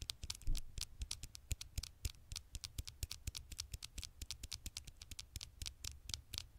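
Fingertips make rapid, tiny taps on the glass screen of an old smartphone. The taps land in a quick, uneven patter, each one a short, dry click with a bright high edge and a soft low thump, dying away almost at once.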